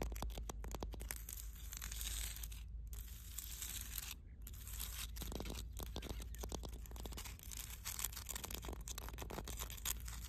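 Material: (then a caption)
Granite. Both hands with long blue nails scratch the grainy surface of a large, solid granite rock, making a dense, gritty rasping with bright hiss. The scratching is continuous over a steady low rumble, with short pauses near 3 and 4 seconds.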